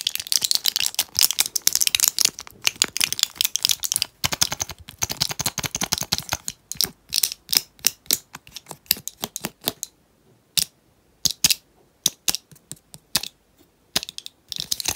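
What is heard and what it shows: Long painted nails tap and click on the plastic bubbles of a small foil-backed blister pack holding gel capsules, held in the hands. Rapid, bright, dry clicks come in dense bursts for the first several seconds, then thin into scattered taps with short silences between them. Each click is sharp and dies out almost instantly, with almost no low end.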